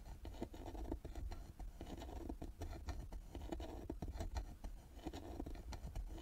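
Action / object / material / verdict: scrape / carved wooden box with metal lid plaque / wood / none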